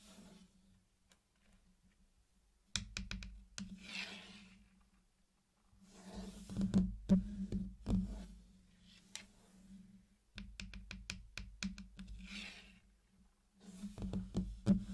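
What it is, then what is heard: Candy-coated chocolate pieces. Fingertips place and tap small, round, hard-shelled chocolate candies in red, yellow, blue and green at the edge of a flat hexagon pattern laid out on a black surface. The result is a loose series of small, sharp clicks with soft scratchy brushing between them, over a low steady hum.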